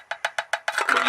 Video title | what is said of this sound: Jim's Allotment - Plot 9 - November Tour Part 2 - Sweet Potato, Coffee & Worms | when you tap them, they should sound dry